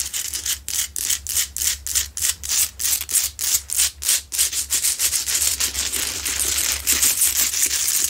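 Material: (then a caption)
Rock salt. Long nails scratch fast across the rough, solid salt crystal of a medium, lit Himalayan salt rock lamp. The result is bright, dry scraping strokes in a quick rhythmic pattern, with separate strokes at first that blur into a denser, nearly continuous scratching toward the end.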